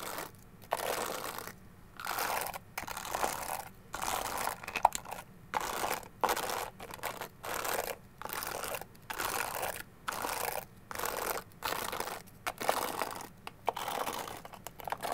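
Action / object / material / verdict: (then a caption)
scrape / plastic hairbrush with dense bristles / plastic / none. Long gold claw-style nails scratch and tap the dense bristles and the back of a small, solid white plastic detangling hairbrush held in one hand. Short bursts of dry, crackly scratching alternate with brief near-silent pauses throughout, with a bright papery texture and occasional sharper taps.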